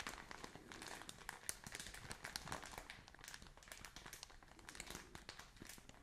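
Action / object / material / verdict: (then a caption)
scrape / soft plastic film bag filled with cotton wool / plastic film / none. A soft plastic film package filled with cotton wool is held up close and squeezed and crumpled by hands with long painted nails. The result is a steady, quiet crinkling with many quick, bright, crackly snaps and a soft rustle underneath.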